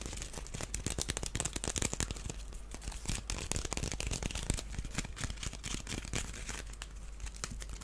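A small, hollow, empty woven wicker basket shaped like a duck is held in the hands while fingernails scratch and tap across its surface. The result is a steady stream of dry, crinkly scratches and quick clicking taps over a faint low hum.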